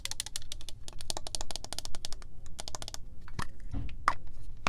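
Long nails tap and scratch a pink, textured, cylindrical plastic PINK body mist bottle holding liquid. Quick, dry, bright clicks come in a rapid run over a low background rumble, broken by a few scratchy scrapes near the end.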